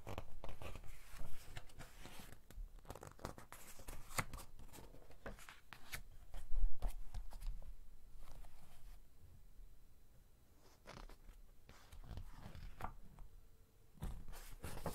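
Fingertips turn and rub flat the thick glossy pages of a large children's activity magazine lying open on a table. The result is quiet, dry papery swishes, crinkles and soft slaps, with a brief louder rustle partway through.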